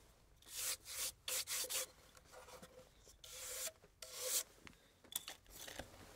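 A small, rectangular antique wooden box, apparently closed and hollow, is held in both hands and turned over while fingertips rub and brush its wooden surface. Soft, bright, hissy rubbing strokes come in short bursts with quiet gaps between them, carrying a faint low hollow tone underneath.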